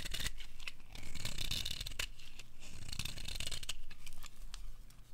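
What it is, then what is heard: Dry bar soap being shaved. A metal blade scrapes along the edge of a dry, bright green bar of soap held in the palm, shaving off strips. It makes a steady run of crisp, bright scraping and crumbling strokes over a low rumble.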